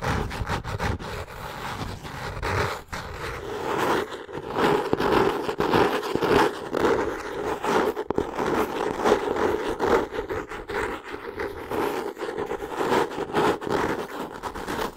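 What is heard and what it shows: Long nails scratch and tap the solid, brown cork-textured cover of a hardcover notebook held in the hands. The result is a continuous dry, rustling scrape with a steady mid-pitched hum around 410 Hz, broken by quick, sharp taps that die away almost instantly.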